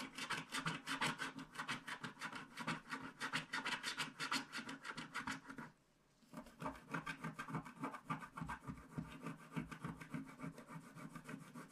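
A wooden stick scratches off the last black spots at the bottom left of a small, flat paper scratch art card with a black wax coating, held in one hand. Quick, rasping scrape strokes repeat steadily, then stop briefly around the middle before resuming at the same brisk pace until the end.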